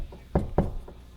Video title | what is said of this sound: Find Studs Fast: Tape Measure vs Magnet vs Stud Finder | That sounds solid.